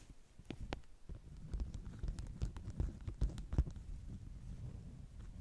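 Long nail tips tap on a flat stack of beeswax-coated cotton food wraps. The result is a quick, irregular patter of soft, dull, low thuds, some with brief sharp clicks on top, each dying away almost at once.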